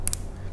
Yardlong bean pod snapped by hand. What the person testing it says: gampang tapi tapi ada bunyinya Pak ada bunyinya